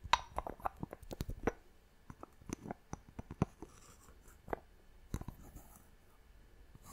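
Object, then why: Small glass box with wooden lid. Long nails tap and scratch the wooden lid of a small clear glass box. About thirteen short, dry, sharp taps come in quick clusters with soft scratching between them, each dying away almost instantly at a quiet, close level.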